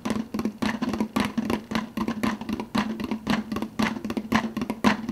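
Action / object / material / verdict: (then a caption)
tap / plastic fountain-drink cup with plastic lid / plastic / none. Nails and fingertips tap quickly on the clear plastic lid of an empty, hollow plastic fountain-drink soda cup. The result is a loose, uneven run of short, dry clicks, each carrying a hollow plastic tone around 210 Hz that dies away almost at once.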